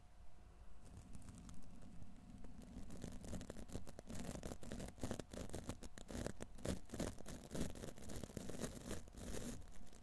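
A silver condenser microphone's hollow steel wire-mesh grille is scratched and brushed by hand with the stiff black plastic bristles of a wide tint brush. It produces a dense, uneven run of close, low, boomy scraping and bristly crackling strokes, softer at first and then steady and busier, with brief bright clicks throughout.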